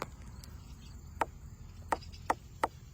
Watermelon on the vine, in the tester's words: every time I thump it it just doesn't sound like it's ripe yet